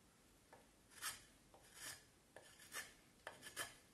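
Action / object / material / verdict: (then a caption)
scrape / vine wood stick shaved with a knife blade / wood / none. A knife blade shaves and scrapes the rounded end of a solid vine wood stick held in the hand. Four strokes are heard, each beginning with a small sharp tick and swelling into a bright, rasping scrape. A quiet, steady hiss runs between the strokes.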